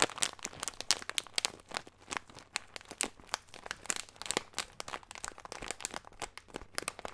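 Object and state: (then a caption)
Plastic bag of nuts. Fingertips crinkle and squeeze a small clear plastic bag with a green label, full of nuts. Dense, bright crackling pops in quick irregular bursts, each sharp and short with almost no low end. The result is a steady stream of crisp, dry plastic crinkles.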